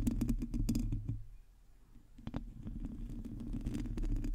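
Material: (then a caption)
Metal mesh. Long teal acrylic nails on both hands scratch the round, hollow metal mesh grille of a black USB condenser microphone. The result is a dense, boomy low-frequency patter of scratches and taps with bright crackling edges. It fades to a near-quiet stretch in the middle of the clip, then builds back up.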